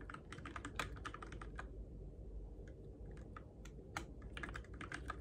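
Fingertips type on the plastic keycaps and switches of a Keychron K6 compact, RGB-backlit mechanical keyboard in the dark. Quick, bright clacks come in fast runs, ease into a sparse stretch midway, then pick up again over a steady low hum.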